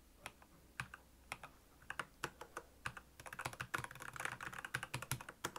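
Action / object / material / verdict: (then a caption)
tap / plastic mechanical keyboard / plastic / none. Fingertips of both hands type on a black plastic Royal Kludge mechanical keyboard with backlit keys. Spaced, sharp key clicks with a bright edge and very little ring come first, then speed up into a dense run of continuous typing.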